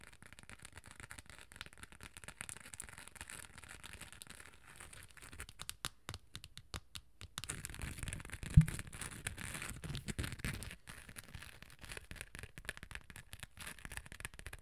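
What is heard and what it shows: Long nails scratch and tap a small hollow rectangular hard cosmetic case with a beige top and a gold glitter-coated body, held close to the mic. The result is a quiet, close stream of crisp, crackly scratching and quick light taps, with a brief pause in the middle and one sharper tap standing out.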